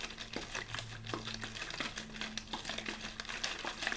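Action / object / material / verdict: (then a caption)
shake / thin plastic water bottle / plastic / none. A clear, thin plastic bottled-water bottle with a blue label, hollow and apparently empty, is held in one hand and shaken and squeezed back and forth. The plastic crinkles and crackles in quick, bright bursts that run continuously, over a faint low, steady hum.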